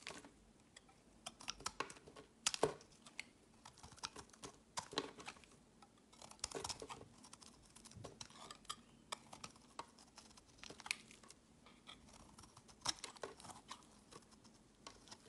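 A hand-held, solid, translucent amber rectangular glycerin bar soap is shaved with a utility knife blade, and thick flakes fall onto a woven mat. Many quick, bright, crisp scraping and crackling cuts come in an uneven patter, with sharper bursts standing out above a quiet background and little low end.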